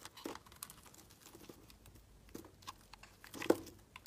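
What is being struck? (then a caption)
Bar of soap carved with a metal blade. A metal blade carves chunks and flakes off a solid, palm-sized green Palmolive bar of soap held in the hand. The scraping and carving come through as a quiet series of short, crisp crunching scrapes with bright flecks, the loudest cut landing near the end.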